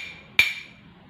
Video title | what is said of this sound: bunyi, sumber bunyi dan media perlambat bunyi. (kelas 4 subtema 1 Pembelajaran 3) | gelas yang di ketukan Hai akan menghasilkan suatu bunyi